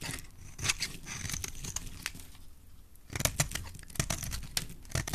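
A utility knife blade scrapes and carves flakes from a solid, dry, translucent red bar of soap held in a hand with black-painted nails. It makes crisp, crunchy scraping and cutting strokes with bright, tearing edges and soft low thumps. The strokes come in bursts, with a brief quieter pause partway through.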